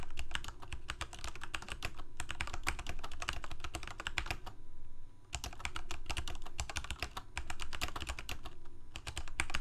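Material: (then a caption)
Plastic. Both hands type rapidly with their fingertips on a full-size black plastic Corsair K68 mechanical keyboard with Cherry MX Red switches and blue backlit keycaps, resting on a white desk. A dense stream of short, bright key clacks runs over a steady low hum, with a brief pause in the typing around the middle before the rapid presses resume.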